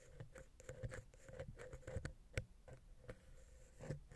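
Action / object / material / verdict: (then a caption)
scrape / metal microphone capsule / metal / none. A wooden ear pick, held vertically, scratches and taps down into the gap between the capsules of the silver metal X/Y mic head on a Zoom H6. It makes a quiet, close, rapid series of dull, low thumps mixed with soft scratching. Each tap is short and dry, with a faint steady mid tone underneath.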